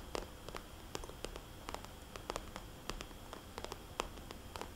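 Fingernails tap and lightly scratch a small, red polka-dot, glossy plastic cosmetics bag held upright, its hollow pouch giving each tap a short, crisp click with a faint hollow tone around 490 Hz. The taps come in an irregular series of quick, dry, high clicks over a quiet, steady hiss, with soft scratching in between.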